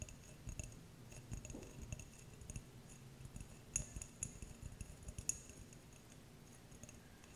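Fingernails tap and scratch a small, clear, empty glass jar, making quiet, scattered clicks and light scraping. Brief, bright glassy chinks ring at a high pitch over a soft low rumble.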